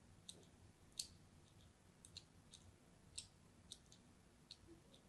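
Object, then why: Bar of soap scored with a craft knife. A solid orange striped bar of soap is held in the hand and scratched with a craft knife, cutting a crosshatch of shallow cuts into its surface. About ten quiet, short, bright clicking scrapes occur at uneven intervals, each dying away almost instantly over a faint low background rumble.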